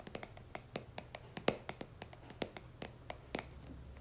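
A plastic cream jar is held upside down while long nails tap and scratch its white plastic base. About seventeen short, dry clicks come in an uneven rhythm, with bright ticking edges and one louder tap near the middle. Soft scratching and a low background rumble sit underneath.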